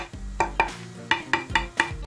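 An 80-year-old (1940s) oak guitar body blank, glued up from table pieces and clamped for 12 hours, is tapped six times after unclamping. Each tap gives a short, hard, ceramic-like click with a bright ring around 900 Hz and 2 kHz that dies away quickly. The glue joint is rock solid, showing a hard, well-bonded blank.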